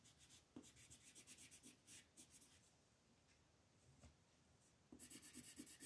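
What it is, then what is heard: Colored pencil shading on paper. A wooden colored pencil shades small leaves at the top edge of a flat printed paper coloring sheet resting on a table, making light, quick rubbing strokes. The scratchy strokes carry a bright, papery hiss, fade to a soft, quiet scrape in the middle, then return louder and faster at the end.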